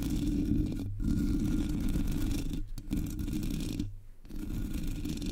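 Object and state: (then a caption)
Metal microphone grille scratched. Long nails scratch the top and sides of the hollow black metal mesh grille of a Blue Yeti microphone. It makes a dense, rapid, uneven rasping with a heavy low rumble and a dull midrange tone. The scratching stops briefly three times, longest near the four-second mark, then resumes.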